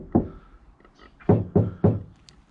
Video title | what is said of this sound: Removing the interior ready for Insulation - VW Transporter T5 Campervan Conversion (Part 3) | you'll hear panels that sound tinny and panels that sound not so tinny